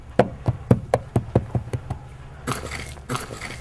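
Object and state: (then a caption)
Hollow buried wooden box. A buried, hollow wooden box uncovered while digging is struck, giving nine quick, dull, low knocks with almost no ring. Two short, hissy, scraping bursts follow. The hollow knock confirms the buried object is wood, and it turns out to be a large box.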